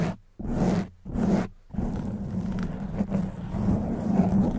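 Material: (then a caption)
Foam. Long white nails and fingers scratch and rub a black foam windscreen on a silver microphone. Three short, muffled scraping bursts are followed by steady, continuous rubbing. The sound is low and dull, with a rumbling body around 180 Hz and almost no bright content.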